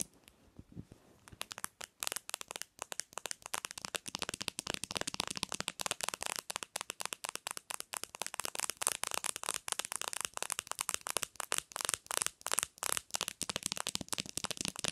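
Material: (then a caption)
Glass, plastic. Long nails rapidly tap and scratch the surface of a black smartphone lying on a pillow. After a quiet first second or so, a dense, steady stream of sharp, bright clicks and scratchy crackles follows, with almost no low end and no ring after each hit.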